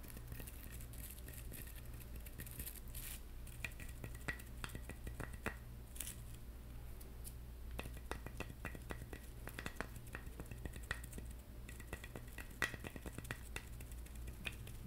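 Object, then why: Whole coconut shell in plastic mesh net. Fingertips and short nails tap rapidly on a whole hairy brown coconut, its hard hollow shell wrapped in an orange plastic mesh net. The result is a quiet, dense stream of short, dry clicks and scratchy taps, each dying away almost at once, with a faint hollow tone around 1.9 kHz. Underneath runs a steady low hum.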